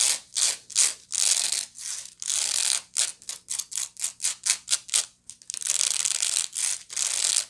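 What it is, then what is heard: Woven straw bag scratched with nails. Long nails scratch the bottom and then the woven side of a medium, hollow woven straw bag. A run of short, bright, dry rasping strokes gives way to faster, quicker scrapes, then longer, steady scratching passes. There is almost no low end.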